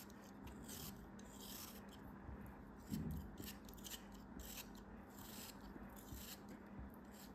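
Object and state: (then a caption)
Kinetic sand block being cut. A solid beige kinetic sand block, held in the fingers, is cut and scraped with a craft knife blade. Soft, gritty rasping and rubbing continue throughout, with bright crumbly scratches over a low steady hum and a slightly louder scrape near the three-second mark.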